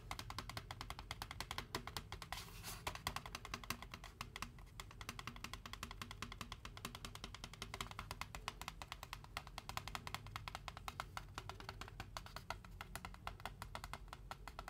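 Fingertips and nails tap rapidly on the side wall of a large white foam Braum's drink cup held close. It makes a steady stream of quick, quiet taps with a dull low thud and bright clicky edges that die away almost at once.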